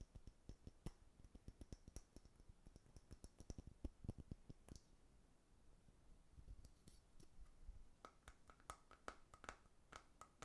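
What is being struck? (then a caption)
Small glass jar with lid. Fingernails tap and scratch the sides of a small brown amber glass jar with a label and lid, holding dark contents and held in one hand. A quiet, rapid series of short, dry clicking taps mixes with soft scratching. A brief pause in the middle is followed by more brighter taps.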